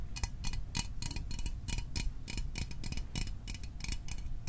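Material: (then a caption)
Metal. A small, hollow metal Fanta orange soda can, held in the hands, is tapped quickly with fingertips and fingernails. The taps are short, bright, clicky ticks with a faint metallic ring near 1 kHz and higher. They sit over a steady low rumble and come in an uneven, rapid rhythm.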